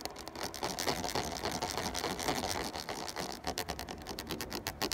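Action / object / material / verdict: scrape / ridged plastic water bottle / plastic / none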